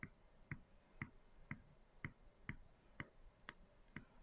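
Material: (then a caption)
Plastic. Long decorated acrylic nails tap the wall of a medium clear plastic canister with a white lid, lying on its side and full of dry soy chunks. Nine short, dry taps land at a steady pace of about two per second, each a low thump with a bright click on top that dies away almost at once, over a quiet background.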